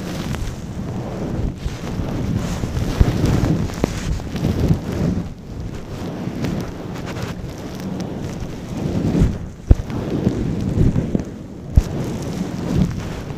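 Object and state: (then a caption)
Faux fur microphone windscreen being rubbed. Fingertips and long nails rub and scratch a long-pile brown faux fur windscreen over a microphone. The result is a continuous deep, muffled rumbling rustle with almost no high end, broken by a few sharp, brief clicks and thumps.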